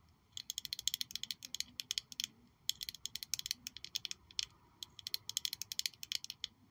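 Long nails tap and scratch a small black glossy glass perfume bottle shaped like a high-heel shoe with a red sole, held in one hand. Quick, bright, dry clicks come in three rapid bursts separated by short pauses, with almost no ring and no low end.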